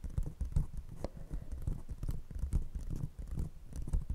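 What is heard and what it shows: Long painted nails of one hand tap and scratch an empty, hollow brown paper cup held over a fluffy microphone, while a second cup stays untouched. The result is a quick run of deep, muffled, bassy thumps with soft scraping in between. The sound has almost no high end and each tap dies away quickly.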